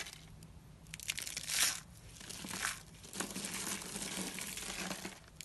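Small rolled coils of thin, dry white soap shavings, hollow in the center, are squeezed and crushed in both fists by fingertips with short nails. The sound is a dense, bright crinkling crunch in uneven bursts, with the loudest swell early on. The coils break down into loose white flakes.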